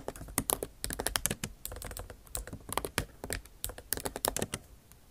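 Long acrylic nail tips type on the bare plastic keys of a MacBook Pro backlit keyboard set in an aluminum body. The result is a rapid, uneven run of short, dry clicking taps with bright edges and almost no ring.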